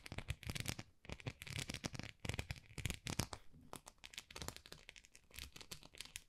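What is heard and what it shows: Long nails scratch across the bumps of a small, solid white plastic rice paddle with a textured, dotted face. The result is a quiet run of quick, dry, crinkly scratching bursts with bright, crackly edges and a soft low rumble beneath.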